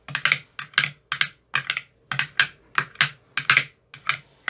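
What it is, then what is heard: Plastic ice cube tray with silicone cells. A thin metal rod with a white rounded tip taps into the hollow, empty cells of a clear rigid plastic ice cube tray with 15 teal-bottomed soft silicone cells. Quick clusters of bright, crisp clicks come in short bursts with brief pauses between them, each tap dying away almost at once with a faint low thump underneath.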